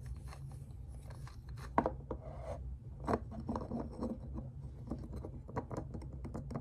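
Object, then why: Carved wooden figure. Fingertips and nails tap and scratch over the surface of a small, solid, reddish-brown carved wooden figure with crossed limbs, held up in both hands. Dry, short taps and raspy scratches sound over a steady low background rumble, with one sharper knock standing out near the start.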